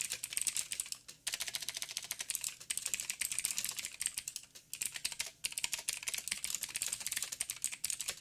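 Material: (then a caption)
Plastic. Fingertips of both hands type rapidly on a backlit mechanical keyboard with black plastic keycaps on a silver frame and a hollow housing. The result is a fast, steady stream of bright, sharp plastic clicks that die away almost instantly, broken by a few brief pauses.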